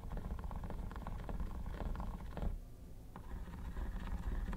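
Metal tweezers scratch the textured top of a hollow, mint-green quilted hard plastic vanity case, making a dense, low, rumbling scrape with short rasping bursts. The scratching eases briefly just past the midpoint, then picks back up at a steady level.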